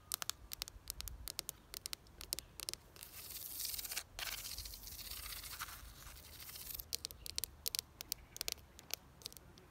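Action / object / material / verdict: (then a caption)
tap / ribbed plastic planter box / plastic / none. Long nails tap and scratch a red ribbed plastic planter box filled with soil and plants. Sharp, bright clicks scatter through the start and end, while the middle is a steady, hissy, high rasp of nails scraping along the ribs.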